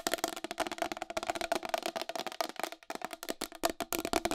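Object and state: Plastic wall clock.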